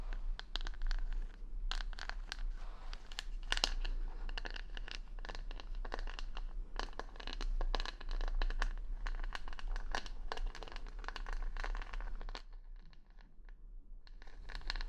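Long nails scratch across the plastic rhinestone stickers covering the back of a wooden hair brush, held close to the mic. The result is a dense, irregular stream of bright, crinkly clicks and scratches. The sound thins out briefly near the end before picking up again.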